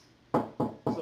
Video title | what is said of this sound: How to install an ethernet cable | doing a simple knock on the wall. It sounds hollow